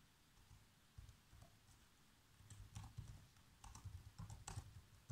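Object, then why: Plastic laptop keyboard. Bare fingertips with short nails tap the keys of a black plastic laptop keyboard in continuous typing. Quiet, soft key clicks come in irregular clusters, each a dull low thump with a brief bright tick that stops almost at once. Faint background hiss fills the gaps between the bursts of typing.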